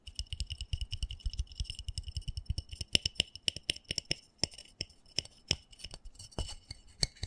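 Fingernails quickly tap and scratch the bottom and side of a small black embossed plastic flower pot, filled with soil and held tilted. A rapid stream of dry, clicky taps blends with low thumps and bright scratchy tones around 2.9 kHz. Each hit stops almost instantly with no ring.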